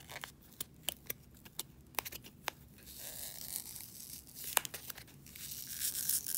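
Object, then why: Polystyrene foam packing peanut. A single small, light, pink-white S-shaped polystyrene foam packing peanut, a solid foam piece, is held in one hand while long dark-polished nails scratch and squeeze it, with other loose peanuts lying untouched on the table. First comes a series of quiet, sharp, separate clicks and ticks. These give way to a louder, continuous, bright squeaky scratching and crinkling rub that builds toward the end.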